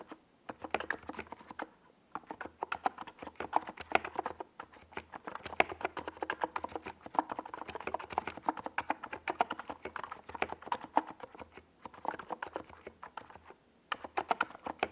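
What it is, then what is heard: Plastic mechanical keyboard with SA keycaps. Fingertips of both hands type rapidly on a NiZ Plum Atom 68, a compact 68-key mechanical keyboard with a hollow white plastic case and purple and yellow Domikey Gas Attack SA plastic keycaps, resting on a desk pad. It makes a dense stream of short, hollow clacky taps centered in the mid range around 730 Hz, with brief pauses near 2, 4.5 and 14 seconds. Each tap dies out almost instantly, with little low end.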